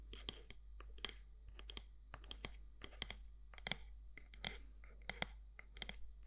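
Long nails tap and scratch the side walls of a medium matte black candle jar with a gold lid. About sixteen sharp, bright clicks sound at an uneven pace over a soft, faint scratching bed. Each tap stops almost instantly with no ring.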